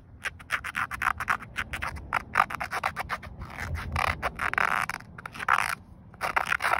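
Fingernails scratch the ribbed weave of a grey woven polyester car seatbelt strap, a flat fabric band. A rapid series of short, dry scratching strokes sounds, each a raspy burst centered in the midrange with a bright hiss on top. Some strokes run together into longer rubbing passes.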